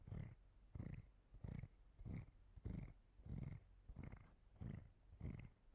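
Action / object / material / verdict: scrape / hollow plastic body brush / plastic / none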